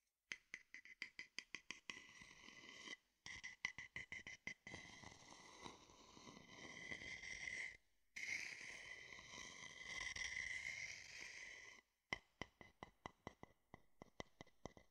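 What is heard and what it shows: An empty, hollow, rounded wooden bowl held low in one hand is tapped and scraped with the tip of a thin wooden stick held in the other. Quick, dry, bright taps open the clip, give way to two long, steady scraping passes with a faint hollow tone near 2 kHz, and then return as a run of lighter taps at the end.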